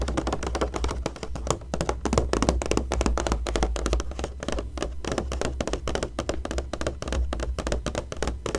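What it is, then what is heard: Glossy magazine page being tapped. Long nails and fingertips tap quickly and irregularly on the coated pages of an open glossy magazine showing a Tiffany ad, with the hand lifting a page at times. The taps are short, dull and papery, with little ring, over a steady low hum.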